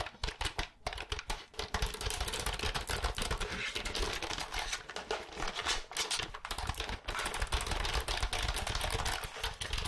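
Long nails tap and type on the keys of a compact, hollow, pale green plastic computer keyboard held upright in front of the mic. The result is a dense, continuous stream of quick, bright plastic clicks with a hollow low thump beneath them, briefly thinning out in a few short gaps.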